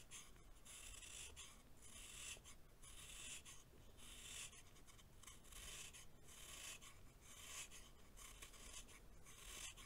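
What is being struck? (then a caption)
Packed baking soda chunk scraped with a knife blade. A hand-held chunk of compacted baking soda is scraped with a green-bladed knife in continuous, repeated shaving strokes. Each stroke gives a bright, gritty rasp over a steady low rumble, with the rasping bursts following one another closely throughout.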